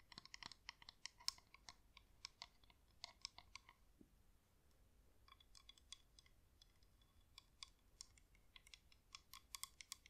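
Long acrylic nails tap and scratch the outer wax wall of a hand-sized, cream, wax-coated LED flameless candle that is hollow with a plastic inner shell. Rapid, bright, dry clicks come in dense bursts with almost no ring, with a quieter stretch of soft scratching near the middle before the tapping picks up again.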